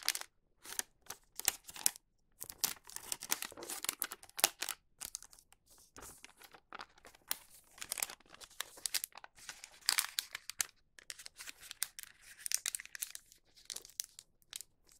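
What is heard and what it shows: The bottom of a wax paper bag is folded open and pressed with fingertips, making bright, dry crinkling and rustling. Short bursts of crackle come in uneven clusters with brief quiet gaps, mostly high-pitched, with almost no low end.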